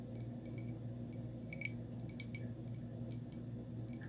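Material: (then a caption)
Ceramic. Long nails tap and scratch the surface of a small, hollow, empty, glossy white textured ceramic or milk-glass pot held in the hand. Quick, light, bright ticks and scrapes sit over a steady low hum throughout, each tap dying away almost at once.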